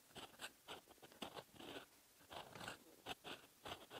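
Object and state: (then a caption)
Pen nib scratching on paper. A metal fountain pen nib scratches across the lined paper page of an open notebook, writing in red ink. Quiet, bright, scratchy strokes come in short bursts with brief pauses between them, with little low end.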